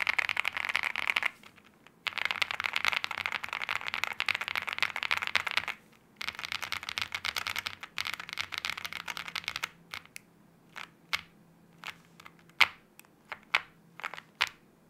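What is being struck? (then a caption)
Aluminium-case mechanical keyboard with plastic keycaps. Both hands type with their fingertips on an aluminium-case 75% mechanical keyboard with wine red plastic keycaps, producing dense bursts of bright, clacky keystrokes. Three long runs of rapid typing are separated by brief pauses, followed by a stretch of slower, isolated key presses.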